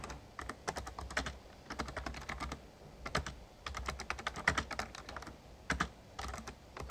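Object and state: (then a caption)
Plastic membrane keyboard being typed on. Fingertips of both hands type rapid key taps on an RGB-backlit plastic Razer Ornata Chroma membrane gaming keyboard with a hollow casing. Quick, bright clicky taps come in irregular bursts with short pauses between them, each tap ending almost at once, over a faint low hum.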